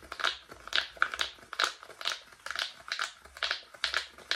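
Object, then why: Silicone pop-it fidget toy. A flat, palm-sized rainbow silicone pop-it bubble fidget toy with hollow bubbles is held in both hands close to the microphone while fingertips rapidly press and pop the bubbles. About fourteen short, crisp pops and crinkly snaps come in an uneven rhythm, bright and midrange with almost no low end. Each pop dies away almost instantly.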